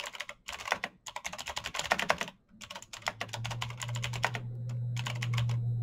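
Fingertips type quickly on a black backlit mechanical keyboard with plastic keycaps and clicky switches. Bright, crisp clicks come in rapid, uneven bursts with a short pause in the middle. A low, steady hum rises underneath toward the end.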